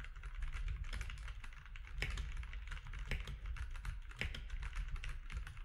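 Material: Plastic.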